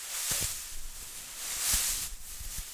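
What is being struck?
Nothing is struck.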